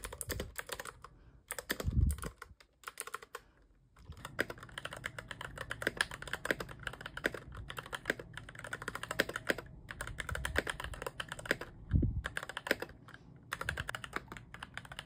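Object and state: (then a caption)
Plastic mechanical keyboard. Both hands type with their fingertips on a compact mechanical keyboard with a white plastic case, cream, grey and orange plastic keycaps, and yellow switches with no foam, lying on a bed sheet. A fast, steady stream of short, deep plastic clacks with a low thocky body is heard, broken by brief pauses near 1.5 and 3 seconds. Louder, heavier thumps stand out around 2 and 12 seconds.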